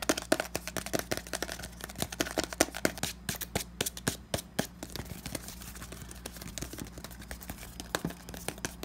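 Fingertips and nails rapidly tap and scratch the body and cap of a hand-sized pink plastic cosmetic tube bottle, likely filled. Quick, sharp plastic clicks come in dense bursts over a soft scratchy rustle, with a steady low hum underneath. The tapping thins to mostly scratching in the middle before picking up again.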